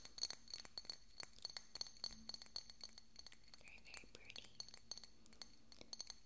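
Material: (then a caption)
Glass. A small, hollow, decorative pink glass bottle with a cork stopper is held beside the microphone and tapped with fingernails. It gives a quick run of bright, high clinking taps that each die away almost at once. Soft whispery noise sits underneath the taps.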